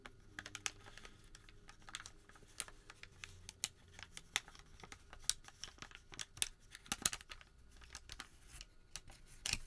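A crumpled white thermal paper receipt is rubbed, then folded into a small packet with fingertips. Quiet, dry, bright crinkles and sharp crackling snaps come in quick irregular bursts over a faint low hum, ending in a louder crinkle as the fold finishes.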